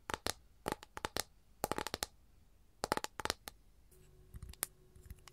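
Long gold nails tap rapidly on the surface of an empty, flat capiz shell tray, making bursts of short, bright clicks with a thin ringing tone around 870 Hz that dies away almost instantly. The taps come in quick clusters separated by pauses. Near the end they turn softer and sparser over a faint steady hum.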